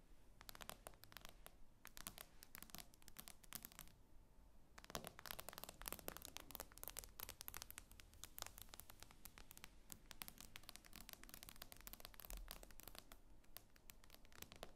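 Long fingernails tap and scratch across the glass screen of a tablet lying flat. Rapid, dense bursts of sharp, bright clicks and scraping ticks run throughout, with a brief quieter lull around four seconds. The taps die away almost instantly over a soft low rumble.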